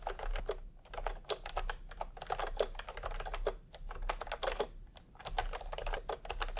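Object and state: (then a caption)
Plastic keyboard, typing. A full-size plastic retro computer keyboard with round pastel typewriter-style keycaps and a hollow body, resting on a white cloth, is typed on fast with fingertips. Dense, rapid clacks of light plastic key strikes run continuously, with short pauses and a hollow, mid-pitched knock under the bright clicking.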